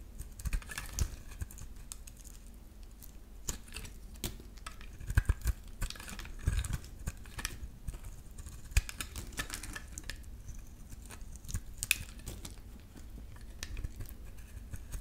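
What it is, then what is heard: Bar soap being scraped. A metal utility-knife blade scrapes a solid green bar of soap, producing crisp shaving sounds. Short, sharp scraping clicks and bright ticks come in uneven bursts over a quiet, low background rumble.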